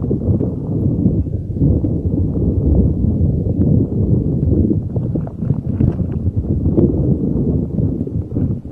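A neon green soft rubber spiky puffer ball held over a microphone is rubbed and squeezed with fingers. This produces a steady, dense, muffled rubbing and crinkling, mostly low and boomy, with scattered soft scratchy clicks throughout.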